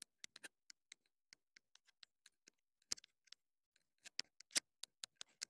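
Long nails tap and click on the hollow casing of a small black plastic clip-on wireless mini microphone transmitter. About eighteen quiet, dry, bright clicks come in an irregular rhythm, each dying away almost instantly. A few louder taps land near the middle and end.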